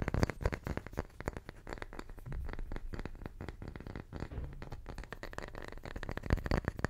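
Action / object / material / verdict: tap / small round wooden tree slice / wood / none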